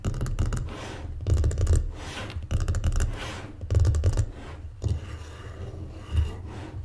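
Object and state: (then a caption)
Wooden board scratched with fingernails. Long painted fingernails rub and scratch the surface and grooved edges of a folded, closed, light wooden mancala board resting on a table. Quick bursts of raspy, ticking scratches come in several passes, separated by softer, steady rubbing. The sound is dull and mostly low, with little ring after each stroke.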